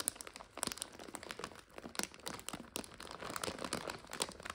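Hands squeeze a full, clear plastic bag of dry egg noodles while long nails crinkle and scratch across the plastic. The result is a steady stream of bright, crisp crinkling with sharp, quick crackles and scratchy rustles, with almost no low end.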